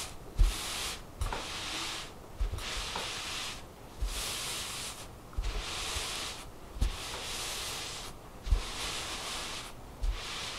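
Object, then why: Cotton terry towel. Long green-painted nails scratch and rub a white cotton terry towel lying flat on a wooden table, using both hands on the soft fabric. Repeated bursts of bright, scratchy hiss are separated by brief pauses, and soft low thumps mark the start of strokes.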